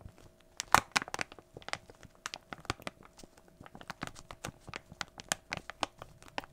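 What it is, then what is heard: Crinkling plastic foil bag. A small glossy plastic foil toy blind bag, held in both hands, is crinkled and squeezed with the fingertips. It gives a steady run of sharp, bright, dry crinkles and crackles with no ring, some louder snaps standing out near the start. A faint steady low hum sits underneath.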